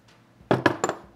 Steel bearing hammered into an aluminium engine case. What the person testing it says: did you hear how the tone, when I was hitting it changed? That means it's seated in the case.